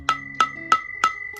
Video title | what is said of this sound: BC Valve Spring install on k24a4 head | it's kind of ringing, making that ringing noise